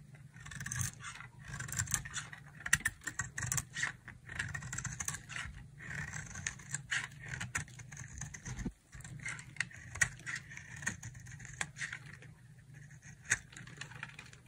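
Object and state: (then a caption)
Dry soap bar being carved. A palm-sized, solid oval bar of dry yellow soap, held in a long-nailed hand, is shaved with a utility knife blade, carving off curls. Dense, crisp scraping strokes with sharp bright clicks run throughout over a steady low hum, with a brief near-silent gap just before the 9-second mark.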